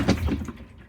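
Water sloshes beneath the drum of a GE 4.6 washer (2018) as the drum is shaken after a wash, with gallons of water left standing under the barrel even though the drum looks dry. It is a short, low, muffled slosh and thunk, with two soft surges that quickly die away.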